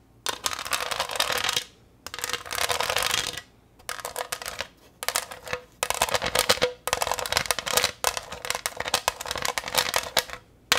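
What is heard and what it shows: Long acrylic nails tap and scratch across the front of a flat green pressed-glass pineapple tray with a diamond texture. Bursts of bright, dense clicking and scraping come in uneven runs separated by short silences, with a faint glassy tone near 500 Hz.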